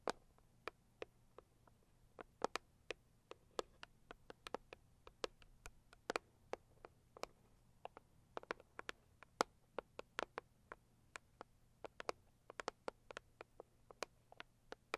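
Long acrylic nails on both hands tap a hollow, medium-sized pink floral Saviland cardboard gift box, producing about 46 quiet, crisp clicks at an uneven, quick pace. Each tap is a dry, bright tick centered near 490 Hz that dies away almost instantly, with no ring, over a faint steady low hum.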